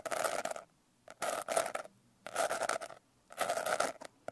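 Long nails scratch quickly over the rough glitter texture of a closed blue glitter-covered hardcover notebook. Four dense, raspy scratching bursts are separated by short silences, with a few light clicks between them. The sound is broadband and gritty, centred in the mids with a bright, hissy top.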